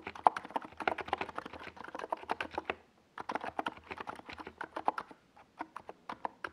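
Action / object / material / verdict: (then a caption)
tap / plastic mechanical keyboard with SA keycaps / plastic / none. Fingertips of both hands type on a compact NiZ Plum Atom 68 mechanical keyboard with a white plastic case and purple and yellow Domikey Gas Attack tall SA plastic keycaps, resting on a desk pad. A steady run of short, dry, mid-pitched keystroke clacks with almost no ring stops for a brief pause around the three-second mark. Typing then resumes and thins out into scattered taps toward the end.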